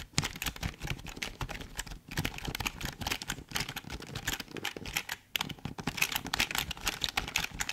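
Fingertips type and tap on the keys of a full-size, hollow black plastic Logitech keyboard held close in front of the microphone. A dense, steady run of bright, dry plastic clicks and clacks, each dying away almost at once, is broken by brief pauses near 2 and 5.3 seconds.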